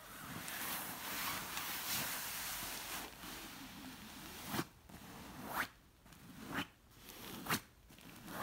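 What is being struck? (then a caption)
Stuffed cushion with silky fabric cover. Long nails scratch and rub a large, soft, stuffed orange pillow covered in shiny, wrinkled silk-like fabric, making a steady, bright, papery rustle. In the second half, the scratching breaks into four separate, sharper swipes with quieter gaps between them.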